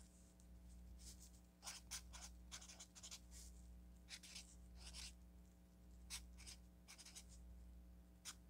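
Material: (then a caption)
Paper. A felt-tip marker writes and underlines on an orange paper sticky note pad, making short, bright scratching strokes in quick, uneven bursts. A steady low hum runs quietly underneath throughout.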